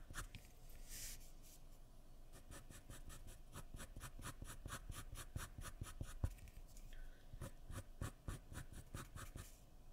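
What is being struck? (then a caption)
Graphite pencil on a paper drawing sheet. A graphite pencil held in the fingers scratches and strokes across a sheet of white drawing paper lying flat on a wooden surface while drawing an eye. The quiet clip is a steady run of short, quick pencil strokes with a dry, scratchy, bright texture over a soft low rumble. A few firmer strokes stand out near the middle and end.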